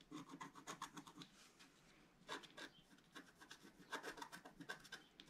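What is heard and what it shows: A wooden scratching stylus scrapes the coating off a flat, roughly A4 black-coated scratch-art card lying on a table and held down by one hand. It makes short, quick strokes, each a dry, bright rasp with almost no low end. The quiet, close scratching comes in bursts with a brief lull in the middle.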